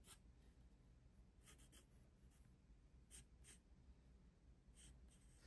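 A black pencil held in the fingers scratches lines across the page of an open paper sketchbook on a desk. Faint, bright, scratchy strokes come in short bursts over a steady low hum, and the overall level stays very quiet.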